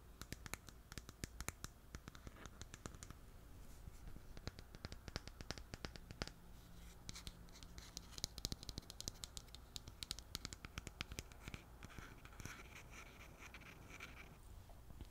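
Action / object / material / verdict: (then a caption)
scrape / plastic cosmetic jar with lid / plastic / none. Long nails scratch and tap a green plastic cleansing balm jar with a white lid. Quick, dry clicks and brushy scratching repeat throughout at a quiet level, each stopping almost instantly over a steady low hum.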